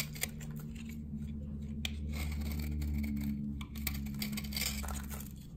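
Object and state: Dry glycerin soap bar.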